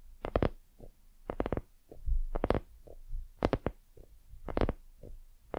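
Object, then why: Soft silicone lamp. Long nails tap and scratch the surface of a hollow, white, soft silicone dumpling lamp. The sound comes in quick clusters of bright, dry clicks with short, muffled low thumps between them, each tap dying away almost instantly.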